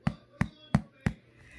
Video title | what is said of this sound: How to Make Seed & Nut Bread: Quarantine Cooking | when they sound hollow then you know